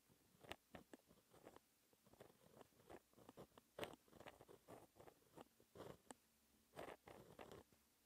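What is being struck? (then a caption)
Pen nib on paper sheet. A fine pen held in a hand scratches across a flat black paper sheet lying on a desk, writing lines of equations. Quiet, dry scratching strokes come in short bursts with brief pauses between them, the scrapes sounding bright and papery with little low end.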